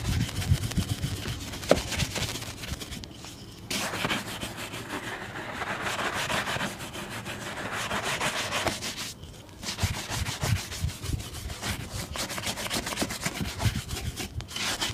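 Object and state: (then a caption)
Leather boot being brushed. A wooden-handled shoe brush is rubbed back and forth over the toe and upper of a brown leather ankle boot, worn on a foot and resting on a blue plastic stand. Steady, bright bristle swishing and scrubbing is heard in repeated strokes. The noise drops briefly in short pauses while the hand steadies the boot.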